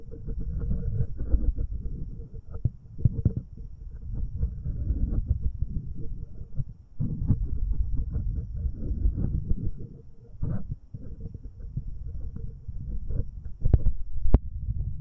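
A fingertip covered in a rubber finger cot rubs and taps the left metal capsule of a binaural microphone. It makes close, muffled low rumbling and scraping with soft thumps, almost all of it deep bass, plus a few sharper taps near the end.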